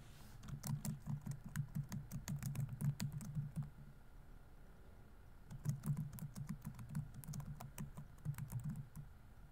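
Fingertips rapidly tap the plastic keys of a laptop keyboard on a grey laptop body, producing quick, soft, low clattering clicks. The typing comes in two bursts separated by a short quiet pause near the middle.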